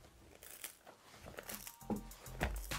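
A freshly baked pizza crust, made with half Manitoba and half tipo 00 flour and baked on a preheated cast iron surface, is crunched and torn. Dry crackling and crisp snapping sounds build to louder crunches toward the end, showing the crust has turned out crispy.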